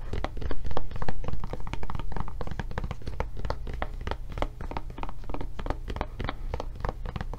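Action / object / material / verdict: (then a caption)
tap / silicone rubber tablet case / silicone rubber / none. A blue silicone rubber tablet case is held up while long nails tap its raised flap and body. Rapid, somewhat irregular taps make soft, dull thunks with bright clicky edges and a low, muffled thump underneath. Each tap dies away quickly.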